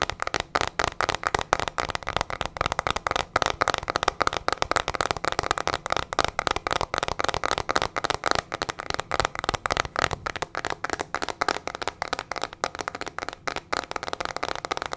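A teal plastic hairbrush with a hollow back is tapped and scratched rapidly with long nails. The result is a dense stream of sharp, dry clicks and crackly scratches, centered around 800 Hz to 1 kHz, with almost no ring after each hit.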